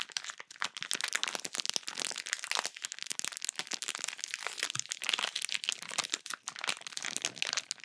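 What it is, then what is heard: Plastic bag of slime. A small sealed clear plastic bag full of pink slime is held in one hand near the microphone and squeezed and crinkled by fingers with long pink nails. A dense, continuous run of sharp, bright crackles and crinkles fills the clip, with quick pops over a slight squishy undertone and almost no low end.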